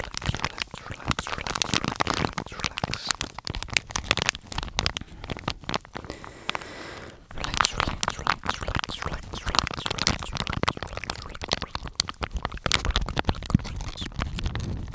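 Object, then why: Soft plastic wipe pouch. A blue, soft, flexible, hand-sized plastic face wipe pouch is crinkled and scratched with fingertips close to the microphone. It makes a dense, continuous run of bright crackles and crunchy rustles with low thumps underneath. There is a brief quieter stretch near the middle before the crinkling picks up again.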